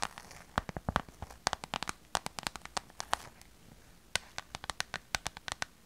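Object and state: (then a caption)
Clear vinyl glitter pouch. A small, hollow clear PVC/vinyl glitter pouch is tapped and scratched with long purple nails. Quick, sharp, dry clicks and taps run in an irregular string, with a slight crinkle of the plastic and short scratchy stretches between them. Each tap is bright and stops almost at once, with a quiet pause near the middle.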